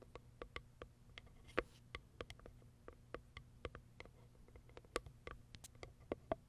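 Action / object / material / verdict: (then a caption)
tap / small cardboard box with plastic window / cardboard / none. Long acrylic nails tap and scratch the top of a small white Kiara Sky cardboard box with a plastic window, turning the box as they go. A quick, irregular series of short, dry clicks and ticks with a papery, hollow body and bright edges stops almost instantly, over a faint low hum. The whole clip stays quiet and close.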